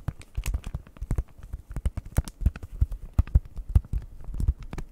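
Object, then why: Plastic-wrapped cardboard package. Long nails tap quickly over a flat, printed cardboard cross-stitch kit sealed in plastic wrap. The taps come in a fast, uneven stream of short, dull knocks, heavy in the low end, with the odd crisp, bright click of nail on plastic. Each tap dies away almost instantly.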